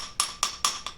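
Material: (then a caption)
Stone tile. A painter's utility tool taps four times on a terrazzo-style floor tile, making short, bright, high clicks with a clear tone and very little low end. Each tap dies away quickly. The tile sounds solid at this spot, with no problem.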